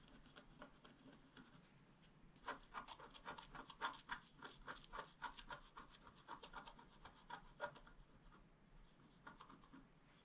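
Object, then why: Black-coated scratch-art card scratched with a wooden stylus. A wooden stylus scratches the coating in the lower area of a flat, black-coated scratch-art paper card. It makes quiet, dry rasping strokes at about three to four per second in an uneven rhythm. The strokes grow sharper and brighter from about 2.5 to 8 seconds, then fade back to soft rubbing.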